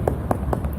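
Four knocks on the steel toe cap at the front of a safety boot give short, hard taps that die away almost at once over a low background rumble. The steel cap protects the toes from being broken or injured.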